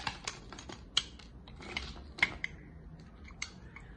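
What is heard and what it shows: A steel utility-knife blade shaves and cuts thin curls and flakes from the edge of a solid, dry green soap bar held in hand. About eight short, crisp, bright scraping and cutting clicks sound at irregular intervals over a quiet, low background.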